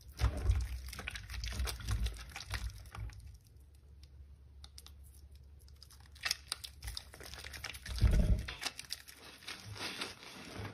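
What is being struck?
Bar of soap in soapy water.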